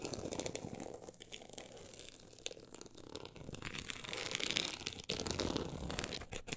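Long acrylic nails scratch a solid, closed book with a woven-look embossed cover lying flat. The result is a dense run of quick, dry, crinkly scratching strokes with a bright, papery texture that comes and goes in uneven bursts.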